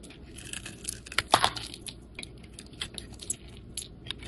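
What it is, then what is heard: Bar of soap being shaved. A metal blade scrapes and shaves thin flakes off the face of a solid, hand-sized, oval yellow bar of soap held in the hand. A quiet run of short, crisp, bright scratching strokes ends abruptly with no ring, and the loudest burst of scraping comes around the middle.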